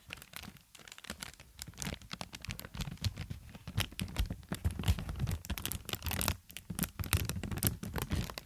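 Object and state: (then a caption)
Plastic air cushion packaging. Inflated green-tinted plastic air pillow packaging, held horizontally in both hands, is squeezed and crinkled with fingertips and long nails. The result is a dense run of sharp, crackling crinkles and scratchy rustles over a low, soft bed. Louder bursts come and go throughout.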